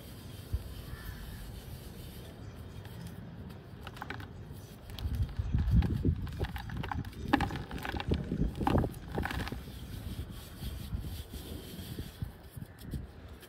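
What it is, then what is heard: Dry cement lump crumbling. A small, solid, palm-sized lump of dry cement is held in both hands over a dark plastic basin while red-nailed fingertips rub and squeeze it, making it crumble so powder falls. A soft, low, gritty rustling runs throughout and swells in the middle into louder, denser crunching with short sharp cracks before easing back down.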